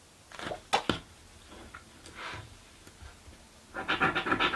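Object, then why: Paper scratch card with latex panel, scraped with a coin. A coin scrapes the latex scratch-off panels of a green paper scratch lottery ticket lying flat on a table. A few sharp, bright scrapes and softer strokes are separated by quiet pauses. Near the end they give way to a quick burst of rapid, gritty scratching.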